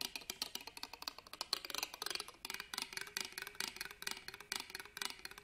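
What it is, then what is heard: Metal purse clasp frame. A black pen scratches and taps along the ribbed metal clasp frame of an embroidered fabric purse held upright on a table. Around thirty quick, dry, bright ticks and raspy scrapes come in an uneven, rapid stream, each stopping almost instantly with no ring and very little low end.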